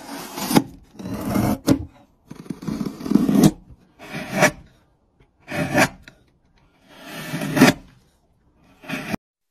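A hand-held steel chisel is pushed along a solid, hand-sized, light-colored pine softwood block resting on a wooden surface, shaving off curled wood strips. A series of short, rough scraping strokes with gritty, rasping texture is heard, each separated by brief silences.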